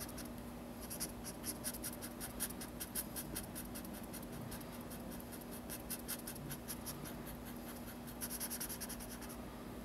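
A hand fills in a drawing with a felt-tip marker on a large spiral-bound paper sketchbook lying flat on a table, making short strokes that scratch and rub the paper. The quiet, bright, dry scratches come in quick bursts, busiest early on and again near the end. A faint steady low hum runs underneath throughout.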